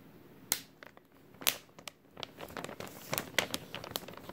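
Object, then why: Thin plastic bag. An empty, thin clear plastic bag with a white label is crumpled with the fingertips of both hands. It gives sharp, bright crinkles and crackles, with several louder snaps among quieter rustling that grows busier toward the end.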